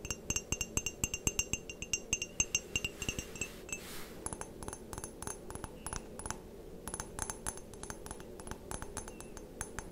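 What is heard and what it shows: Long painted nails tap rapidly and repeatedly on the body and rim of a white ceramic mug with a printed pattern, hollow and apparently empty. Each tap is a light, bright clink with a high ringing tone that dies away almost instantly, over a soft low rustle.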